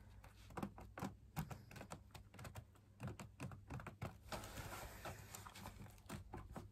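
Fingertips tap the wall of a hollow, perforated, fabric-laminated drum lamp shade, producing a quick, uneven series of soft, dull taps with almost no ring. The taps sit over a low, steady hum, with a brief patch of brighter rustling midway through.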